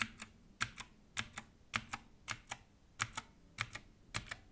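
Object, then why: Plastic mechanical keyboard. Gloved fingertips press and type on a Redragon compact 60% mechanical keyboard with an orange case and grey and black plastic keycaps, resting on a dark table. About 15 short, bright plastic clacks land mostly in quick pairs at an uneven pace. Each dies away almost instantly against a quiet background.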